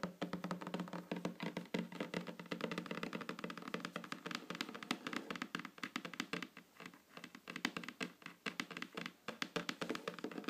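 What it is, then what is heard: Wooden tabletop tapped with fingernails. Long fingernails tap rapidly and continuously on a solid, flat wooden tabletop close to the microphone. The result is a dense stream of short, dry clicks and light knocks with a woody mid-range body and a bright edge, each dying away almost instantly.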